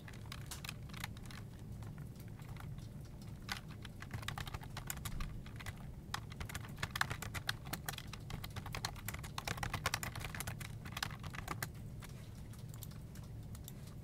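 Fingertips with short nails type continuously on a full-size black plastic desktop keyboard with many hollow keycaps. They produce a rapid, steady stream of light, bright clacking taps with very short decay, over a constant low hum.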